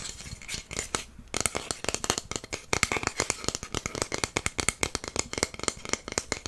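A long, flat, solid wooden incense stick holder with inlaid stars, held in the hands, is tapped and scratched with fingernails. Dozens of quick, dry, bright clicks and taps follow one another with almost no ring, mixed with soft scratching, with a slightly quieter, scratchier stretch near the start.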